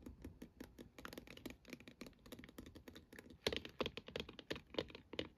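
Long acrylic nails tap and scratch with both hands across the top and sides of a hollow plastic star projector dome lamp with star cutouts. The quick, irregular clicky taps have a short, hollow plastic ring centered around 430 Hz, with bright edges and faint scratching between them. The clip is quiet overall, with a louder burst of taps in its second half.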